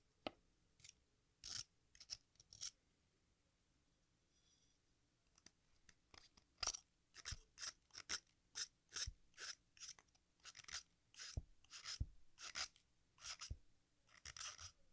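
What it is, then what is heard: Sidewalk chalk being shaved with a metal blade. A metal craft knife shaves the red face of a solid watermelon-slice-shaped sidewalk chalk, then scrapes along the edge near the green rind, with powder falling into a pink bowl. Short, bright, crisp rasping strokes come sparsely at first with a brief quiet stretch, then follow in a quick, steady run.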